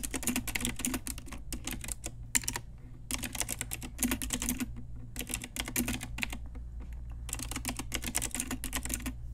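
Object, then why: Plastic mechanical keyboard. Long nails and fingertips type on a pink Ajazz retro typewriter-style mechanical keyboard with round plastic keycaps, producing rapid bursts of bright, sharp plastic clicks and clacks. Short pauses separate the bursts, and a steady low hum sits beneath them.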